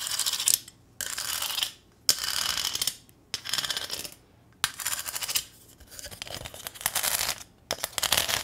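Long nails tap and click across a small, thin corrugated sheet-metal welcome sign with a ribbon bow attached, making bright, high metallic clinking. The sound comes in several short bursts of rapid, scratchy clicks separated by brief silences, and each click dies away almost instantly.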